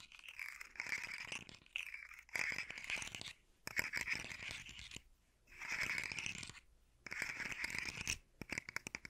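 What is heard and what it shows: A hollow, rainbow-colored, segmented hard plastic fidget slug toy is held upright in one hand while fingertips and nails scratch and tap along its segments. Bright, dry scratching and rapid clicking come in bursts separated by short pauses, with quick, sharp ticks that die away almost instantly.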